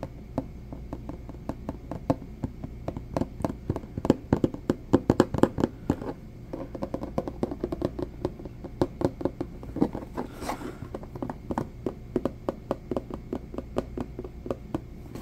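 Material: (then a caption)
Plastic. Fingertips and nails tap fast on a hollow, medium purple plastic food storage container with a dotted textured lid. A dense run of short, dry clicks and knocks with a hollow mid-range tone dies away almost instantly. The taps peak loudest around the middle and then continue steadily to the end.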